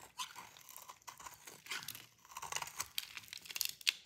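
A metal utility-knife blade shaves crunchy curls and flakes from the edge of a solid, light blue bar of dry soap held in the hand. It makes a repeated, bright, crisp crunching and scraping sound, mostly high-pitched with almost no low end. The cuts come in quick irregular bursts, ending with a sharper scrape.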